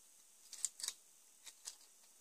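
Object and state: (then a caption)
Plastic Lego car chassis. Fingertips tap and scratch a partly built LEGO Batman Movie set 70906 The Joker Notorious Lowrider chassis, about 25 cm long and made of ABS plastic bricks with a hollow studded underside, while it is held in both hands and turned over. Quiet, bright plastic clicks and scratches come in short, dry bursts with almost no low end and no ring.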